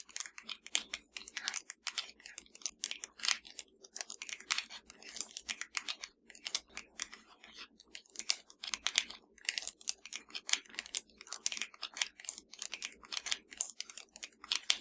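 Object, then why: Plastic TV remote control. Long dark nails of both hands tap and scratch a slim, hollow black plastic Fire TV remote lying flat. A quick, steady stream of sharp, bright clicks and scratchy rasps comes through, each dying away almost at once. The sound is quiet overall and sits almost entirely in the high range with no low end.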